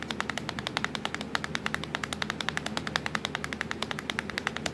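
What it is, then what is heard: Plastic laptop keyboard tapped with nails. Long acrylic nails tap rapidly on a black plastic laptop keyboard with Ctrl, Fn and Windows keys, making about fifty short, sharp clicks over a low steady hum. The clicks ring bright and high and stop almost instantly.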